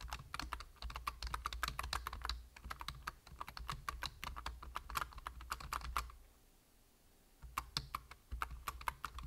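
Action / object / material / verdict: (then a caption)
tap / plastic computer keyboard / plastic / none. Fingertips type steadily on a full-size black plastic computer keyboard, producing quick, crisp key taps over a low steady hum. The tapping stops for about a second and a half while a hand briefly covers the keyboard, then resumes at the same brisk pace.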